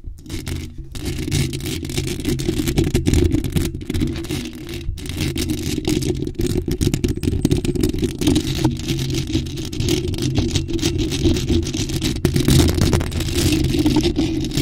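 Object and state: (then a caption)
Metal mesh microphone grille being scratched and tapped. Long pointed acrylic nails scratch and tap rapidly across the bare, hollow black metal mesh grille of a large condenser microphone with no foam cover. The result is a dense, continuous rumbling scrape, heavy in the low end, with a steady stream of quick scratchy taps and faint bright rasping on top.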